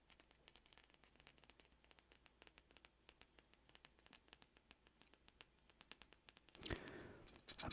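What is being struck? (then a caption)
Thin sheet-metal ornament. A rocking pirate ship ornament of thin metal construction is scratched and clinked, making a steady run of quick, light scratchy ticks. Near the end the sound turns into a louder, brighter burst of scraping and rustling.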